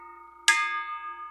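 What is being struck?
Small metal bell.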